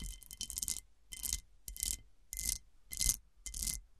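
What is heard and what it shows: Long dark nails scratch and tap across the faceted surface of a large, round, hollow cut-glass serving dish turned upside down. A series of short, bright scratching bursts, separated by near silence, carries faint ringing glassy tones around 2 and 3 kHz.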